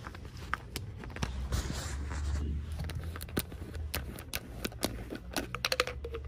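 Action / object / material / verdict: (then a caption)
tap / plastic water bottle with cap / plastic / none. Long nails tap and scratch the pink cap and body of an empty, hollow, clear purple plastic water bottle with a straw. Quick, dry, bright clicks come in an uneven series, with a stretch of soft scratchy rustling near the start, all over a steady low rumble.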